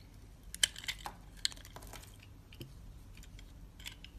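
A utility knife blade scrapes the honeycomb-textured surface of a solid, hand-sized green bar of soap held in the hand, cutting it into crumbly shavings. Quiet, bright, crisp crackling and scratchy clicks come in uneven bursts, with a few sharper snaps that die away almost instantly.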